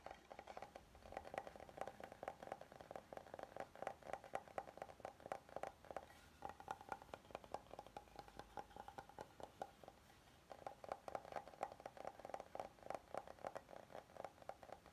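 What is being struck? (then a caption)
Wooden serving board. Fingernails tap and scratch the surface of an oval, solid light-wood serving board held up in the air. Quick, dry clicks and taps come in rapid bursts with a woody ring around 780 Hz. Softer scratching stretches in between.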